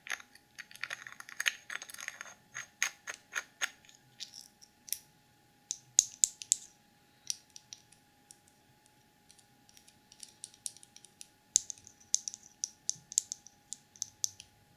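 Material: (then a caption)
Plastic. Long acrylic nails tap and scratch the walls and rim of a small clear plastic cosmetic jar full of dark multicolour glitter, held between the fingers. Quick, dry, bright clicks and short scratchy bursts come in uneven clusters, each dying away almost instantly, over a faint steady tone.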